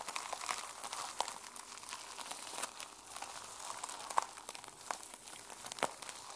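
Long nails scratch and rub the teal and silver plastic sequin cover of a small journal held in the hands. The result is a soft, steady crinkly rasp with bright, brittle ticks, punctuated by a few sharper clicks around 940 Hz and no low end.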